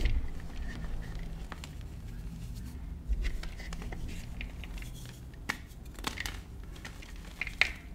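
Frozen blocks of white gym chalk (magnesium carbonate) are crushed and crumbled in a bowl between the fingers and palms of both hands, with powder falling. Soft, dry crumbling and crinkling runs throughout over a low rumble, broken by a few sharper crackles with a bright edge near the end.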